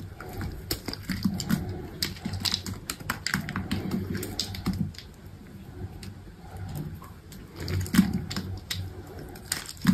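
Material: Soap.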